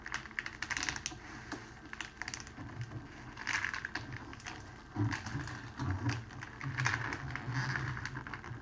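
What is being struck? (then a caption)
Cellophane wrapping sheet. A large clear cellophane sheet, folded into a long strip on a table, is pressed and rolled along its folded edge by palms and fingertips. It gives a steady run of dense, bright crinkles and crackles, with soft low thumps from the pressing that grow louder in the second half.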